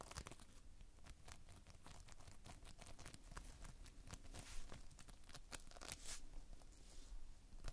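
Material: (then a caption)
Foam beads. Fingers squeeze and pull a heap of multicolored Playfoam, foam beads held in a sticky binder. Close, quiet crackling and tearing crunches pop in rapid bursts over a steady low rumble, with sharp bright clicks as the beads stick and pull apart.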